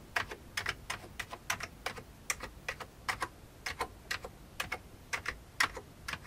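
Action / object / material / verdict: tap / plastic computer keyboard keys / plastic / none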